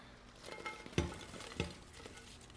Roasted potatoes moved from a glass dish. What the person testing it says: Do you hear how crispy they are?